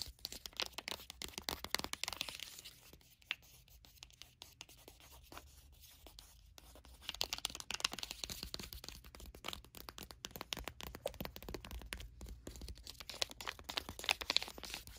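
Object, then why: Foil and plastic face-mask sachet. Long acrylic nails tap and scratch across a sealed, full, flat bottle-shaped foil and plastic face-mask sachet lying on a blanket. The result is a fast run of crisp, bright clicks and crinkly scratching, dense with high hiss. A quieter stretch comes in the middle before the rapid tapping picks up again.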